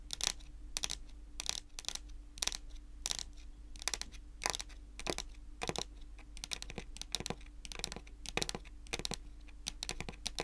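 Long natural nails tap and scratch a solid, dark wood-grain tabletop. Crisp, bright clicks and short scraping bursts come in quick irregular clusters with almost no ring. A steady low hum and a faint tone sit underneath throughout.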